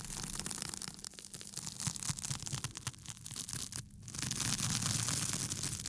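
Fingertips scratch and rub the textured surface of a small, thin, flat piece of pink porous foam or sponge sheet held in both hands near the microphone. The result is a dense, bright, crackly scratching with quick irregular strokes over a steady low hum. It dips briefly near the middle, then swells into a louder, continuous hiss of rubbing.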